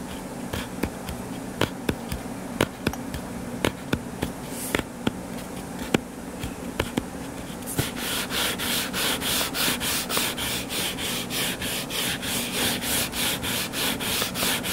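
Fingertips and nails scratch and rub the cover of a solid, purple-covered paperback book lying flat. Scattered sharp taps and clicks give way after about eight seconds to steady, rhythmic, bright scratching strokes, roughly three per second, over a faint low hum.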